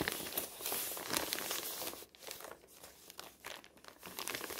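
Hands lift a crumpled, thin white newsprint advertising flyer with a pink "20% korting" print from where it lies flat on a table, then crumple and crinkle the same sheet. Dense, bright crackling rustles fill the first two seconds, then drop to quieter, sparser crinkles and sharp crackles.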